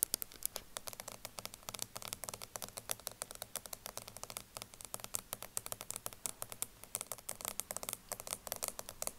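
Long nails tap rapidly on the black plastic lid of a small round cosmetic jar of loose powder, partly full and standing upright on a table. A dense, quick run of tiny dry clicks carries a bright, crisp edge, with almost no ring after each tap.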